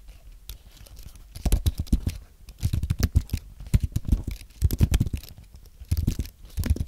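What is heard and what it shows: Fingertips of both hands type and tap on the keys of a thin, solid white Apple Magic Keyboard with an aluminum base and white plastic keys, close to nearby microphones. Quick bursts of soft, muted key taps run in rapid flurries with brief lulls. Each tap is short and dull, with a deep low thump and very little bright click.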